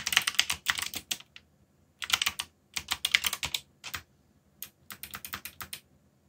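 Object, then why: Mechanical keyboard with plastic keycaps. Fingertips type on a backlit mechanical keyboard with plastic keycaps, giving bursts of quick, bright, clacky keystrokes separated by short pauses. Each key strike is crisp and dies away almost instantly, with very little low-end body.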